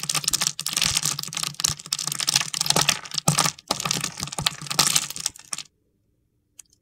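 A utility knife scrapes and carves small scored cubes off a solid, palm-sized red bar of soap held in the hand, making dense, crisp, high-pitched crackling and scraping. The scraping stops after about five and a half seconds, leaving near silence with one faint tick at the end.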